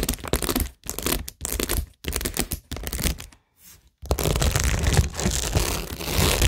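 Long nails scratch and tap across a cork board covered in plastic pearls and rhinestones, making dry, crackling, crinkly scratches with bright highs and a low rumble. The sound comes in short bursts separated by brief silences for the first four seconds, then turns into steady, dense scratching until the end.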